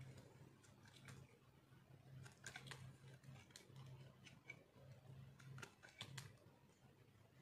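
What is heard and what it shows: A thin, solid slab of dried orange soap is held in the hand while a metal blade cuts and scrapes along its edge. The result is a quiet run of dry, crisp scraping and crunchy clicks with bright transients, all over a steady low hum.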